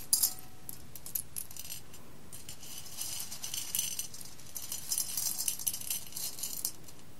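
Fingers with long nails rake and stir whole roasted coffee beans in a clear embossed glass bowl. Bright, crisp clicks and rattles come in bursts, with a sharp flurry at the start and denser clusters later, over a low background rumble.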